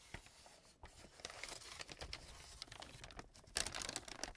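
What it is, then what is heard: Brown paper bag. A small brown kraft paper bag is folded and crumpled by fingers, giving quiet, bright crinkling and tearing-like rustles in quick, uneven bursts. The rustling grows louder and sharper toward the end.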